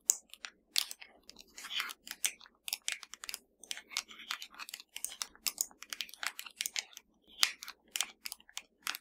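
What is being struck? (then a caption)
Plastic TV remote control with rubber buttons. Long matte nails on both hands tap rapidly on the rubber buttons and body of a flat, hollow black plastic TV remote. The result is a quick, irregular stream of sharp, dry, bright clicks with almost no low end and virtually no ring.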